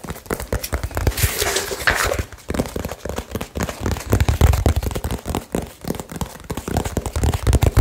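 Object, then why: Small cardboard box. Fingertips tap fast and hard on a small hollow cardboard box wrapped with blue tape. The result is a dense, irregular run of dull, low, boxy thumps with very short decay. A brief, brighter, papery crinkle rises near the start.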